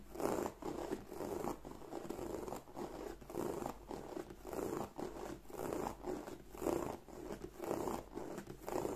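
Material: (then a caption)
Leather. Long nails scratch along the flap edge and embossed surface of a black croc-embossed leather bag. The result is a soft, dry, rhythmic scraping in repeated swells, centred in the low mids around 400 Hz.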